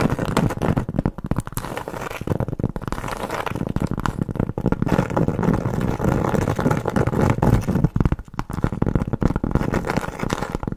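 Long nails tap and scratch quickly across the rough surface of a large, round, flat, solid cork board trivet held in the hand. The result is a dense, continuous stream of soft, muffled, low-pitched tapping and scratching with almost no ring or high-frequency sparkle.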